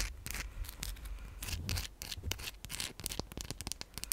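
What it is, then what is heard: Rose quartz crystal. Long pink acrylic nails scratch and tap a palm-sized chunk of raw, pale pink rose quartz, a solid stone held close to the mic. Quick, bright clicks and crisp, rustling scratches come in an uneven run over a low, soft rumble. Each tap stops almost instantly, with no ring.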